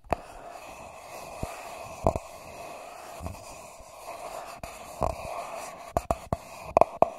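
Fingertips and short nails tap and scratch the sides of a small, hollow, empty paper cup with a shiny gold metallic foil coating, set upside down over the mic of a Tascam DR40x recorder. About ten quick, dry taps ring with a hollow tone near 660 Hz and die away almost at once. Soft scratching fills the gaps over a faint steady hiss.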